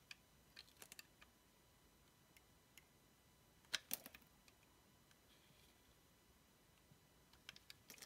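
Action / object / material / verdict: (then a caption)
scrape / bar of soap / soap / none. A dark blade shaves long strips off a palm-sized orange oval bar of solid soap bearing a paper mermaid-cat sticker. About fifteen short, crisp, bright clicks and scrapes sound over quiet background hiss, with the loudest cluster of cracks just before the midpoint. Each ends almost instantly.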